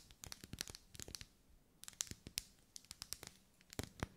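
Long nails scratch and tap along the vertical ribs of a lit, hand-held pink pillar candle of solid wax. The result is a quiet, irregular run of dry, crisp clicks and scratchy, crinkling strokes with bright edges, each dying away almost instantly. A faint low hum sits underneath.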